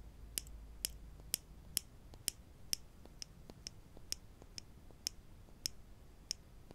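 Two small solid wooden clothespins with metal springs, one held in each hand, are tapped and clicked against each other with the fingertips. Thirteen sharp, dry, high-pitched clicks sound at an irregular, unhurried pace, each dying away almost instantly over a low, quiet background hum.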